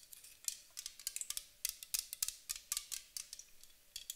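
A white aluminum aerosol spray can, held sideways, is tapped and scratched along its body with long acrylic nails. Around twenty sharp, bright clicks and taps come in an irregular quick run, each dying away almost at once over a faint steady hum, with little low end.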